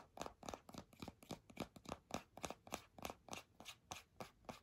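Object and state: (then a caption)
Plastic hand cream tube. Long nails tap and scratch a filled purple plastic squeeze tube of hand cream with a white cap. About 19 quick, dry, scratchy strokes come at an uneven pace of roughly three per second. Each is a short, bright rasp centred in the mids that dies almost at once.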